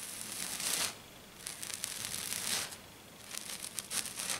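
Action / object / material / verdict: scrape / glitter-coated foam sheet / glitter foam / none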